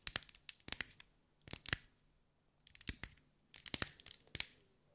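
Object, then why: Mosaic ball covered in small glass tiles. Long white acrylic nails tap and scratch over a hand-sized sphere covered in small green mirrored glass mosaic tiles, held in the hands. The result is quick, bright, dry clicks and light scraping in four short bursts separated by quiet pauses, with each tap dying away almost instantly.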